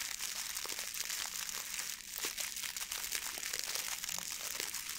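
A blue metallic plastic ribbon gift bow is crinkled and squeezed with both hands, making a steady, dense crackling and crinkling. The sound is bright and papery with almost no low end, with a brief quieter dip around the two-second mark.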